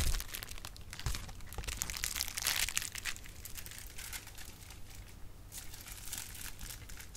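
A clear plastic bubble wrap sheet is crumpled and popped with fingers for about seven seconds. Dense, bright crinkling and crackling carry sharp snapping pops over a steady low rumble, with louder bursts near the start and around the middle.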